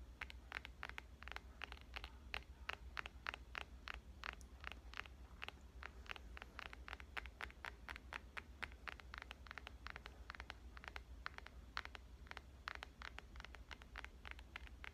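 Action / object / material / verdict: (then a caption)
tap / smartphone glass screen and metal frame / glass / none. Fingernails tap rapidly and continuously on the glass front and metal frame of a black, phone-sized smartphone held upright. Each tap is a short, dry, bright click with almost no ring, over a steady low hum.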